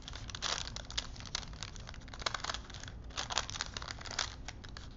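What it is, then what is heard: Paper strip being crinkled on wooden spools. A thin printed paper film strip stretched between two wooden dowel spools is wound and rubbed by hands, crinkling the paper. The result is a steady stream of soft, bright crinkles and rustles with sharper crackling bursts, over a faint low hum.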